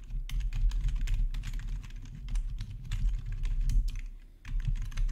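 Both hands type with their fingertips on a black plastic RGB backlit gaming keyboard, producing a rapid, continuous stream of sharp, bright key clicks. A steady low hum runs underneath, and the typing briefly slows near the end before picking back up.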